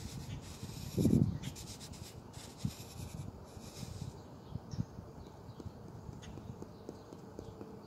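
The red rubber eraser tip of a white pencil taps on a lined paper notepad lying flat, striking the paper over handwritten words. Soft, dull, low-pitched thuds die away at once, with a louder burst near the start and then scattered lighter taps against a quiet background.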